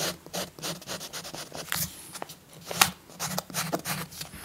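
A peach-colored chalk stick is rubbed in broad strokes across a paper coloring book page resting on a soft cloth. Repeated dry, scratchy rasps rise and fade with each stroke, bright and grainy, over a faint steady low hum.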